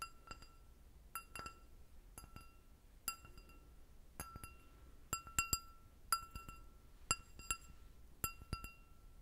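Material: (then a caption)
Glass. An empty clear glass goblet with a short stem is tapped 17 times with long nails. Each tap gives a short, bright clink ringing at about 1.3 kHz with high overtones, in uneven clusters over a quiet background.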